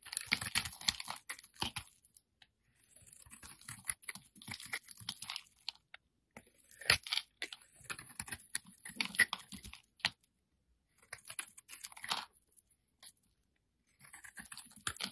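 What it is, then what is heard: Soap bar scraped with a blade. A metal utility-knife blade scrapes a solid, hand-sized yellow soap bar held in the hand, shaving off powdery flakes. Bursts of dry, crisp scraping and crunching come in quick, bright strokes, separated by short silent pauses.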